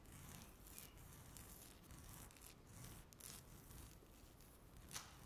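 Long natural nails scratch a flat, solid speckled laminate tabletop. The result is a continuous, soft scratching with bright, hissy bursts over a low rumble, and one sharper scrape near the end.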